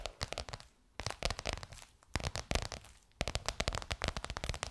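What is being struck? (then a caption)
Embossed faux leather cover over a curved form. Long nails tap and scratch a bronze-gold crocodile-embossed faux leather cover stretched over a curved hollow form. Bursts of quick, crisp clicking taps mix with dry, crinkly scratching, each tap carrying a soft hollow low thump, separated by brief quiet pauses.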